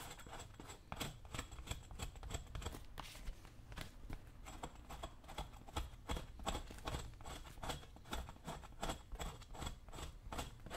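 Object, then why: Leather work boot and metal chisel. A dull metal chisel is scraped repeatedly across the leather upper of a brown leather work boot worn on a foot, working near the eyelets and toe. The result is a quick, uneven series of short, dry scraping strokes, each with a bright, hissy edge over a low, muffled rumble.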